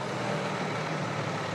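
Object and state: Nothing is struck.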